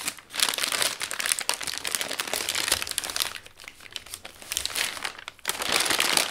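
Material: Paper.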